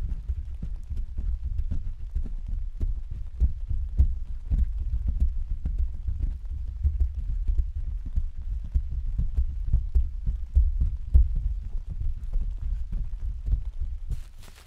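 Several hands tap and pat with their fingertips on the thin, hollow canopy of an open translucent white plastic/vinyl umbrella standing on a stand. The result is a steady, irregular stream of soft, dull, low thumps that sound like rain drumming on the canopy, with a brief bright rustle at the very end.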